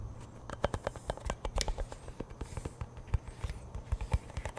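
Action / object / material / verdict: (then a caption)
tap / cardboard chip tube / cardboard / none. Fingers tap the lid end and the side of a hollow cardboard Pringles chip can held close to the mic. About sixteen quick, soft taps are heard, each a dull, low, hollow thud that dies away almost at once. The taps come in an uneven rhythm over a faint background hiss.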